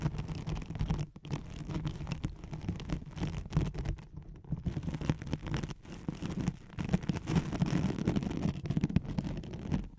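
Long nails scratch quickly across a thin white hook-side nylon hook-and-loop velcro sheet laid over a microphone. The result is a continuous, dense, rough rasping with a heavy low rumble and a faint tone underneath, briefly easing near the first and sixth seconds before resuming.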